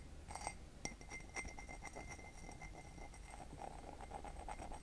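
Fingertips and nails tap the side of a hollow, empty white glazed ceramic mug with a red heart pattern, held near the mic. The taps give quick, light clinks with a short ring around 2 kHz over a steady low rumble.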